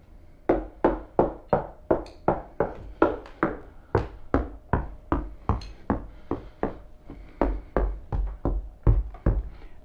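The outer steel skin of a car door, already covered with damping treatment, is tapped at different spots from the outside. There are 26 short, dull knocks at an uneven pace, each dying away quickly with most of the energy in the low range.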